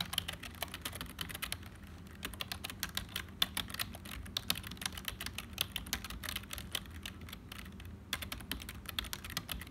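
Fingertips of both hands type continuously on a hollow, black HP full-size plastic keyboard. The result is a quick, dense stream of short, dry, bright clicks with a sharp tick near 3.5 kHz, over a steady low hum.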